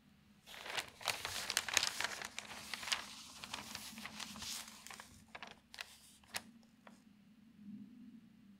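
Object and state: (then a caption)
Newsprint newspaper page turning. A hand slowly lifts and turns a large, thin newsprint page of an open paper newspaper lying on a table. Bright, crinkling rustles build over the first few seconds, then thin out into a few sharp, isolated crackles and a soft final swish as the page settles.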